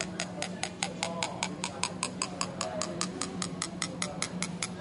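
A ceramic mug of fizzy water is tapped 23 times in a steady rhythm, giving short, bright ringing clinks over a faint low steady hum. As the bubbles rise out of the water, the mug's pitch climbs back up.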